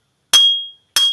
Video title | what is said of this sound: Cara Pasang Noken As Pelatuk Klep Mio dengan CEPAT!! - Cara Pasang Isi Head Mio Ala Montel | ini bunyinya udah tik. Nah, ini berarti pen batuknya udah mentok, sudah pasu